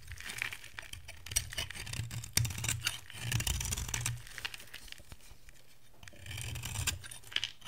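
A hand-size, dry, solid cream-white soap bar with a pink outer layer is held in one hand while a metal box-cutter blade scrapes flakes off its top edge. The sound is a run of crisp, dry scraping and crackling strokes with bright high-end grit over a low hum. Some strokes are louder and sharper, and there is a quieter stretch in the middle.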